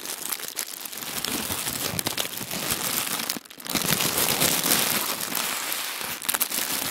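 Fingers roll up a sheet of thin white tissue paper on a wooden table, making a steady, bright crinkling with dense crackles and rustles. The sound briefly quiets near the middle, then returns slightly louder until the end.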